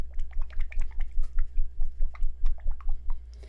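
A bottle of Make Up For Ever Water Blend Face and Body Foundation, a water-based formula that is 80% water, is shaken hard before use as the package instructs. About twelve quick, rhythmic sloshes of thin, watery liquid are heard over a steady low hum. The splashing reveals how runny the contents are.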